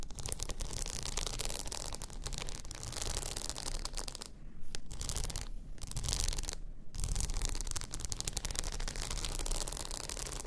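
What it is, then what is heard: Rhinestone-covered tumbler. Long nails scratch across a blue rhinestone-covered tumbler lying on its side, making a dense, raspy, crackling scrape over a low, steady rumble. The bright, gritty texture runs almost continuously, with brief pauses near the middle before the scratching resumes.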